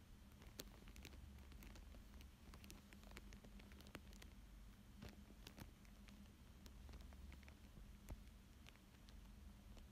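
Fingertips and nails trace and scratch across a thin, flexible, clear plastic sheet lying flat over a coloured paper picture. Soft crinkles and quiet scratchy patter are heard, with many brief bright clicks over a low steady hum. The sound stays quiet and close throughout.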